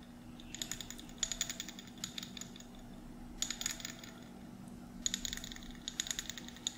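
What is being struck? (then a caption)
Small glass jar with metal screw lid. Fingernails tap the metal screw lid and glass sides of a small glass mason jar held in both hands. Bursts of quick, bright, clicky taps with a faint high glassy ring come in several clusters. A steady low hum runs underneath throughout.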